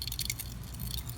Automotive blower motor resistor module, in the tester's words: when you shake it you can hear a little rattling in there so something has come loose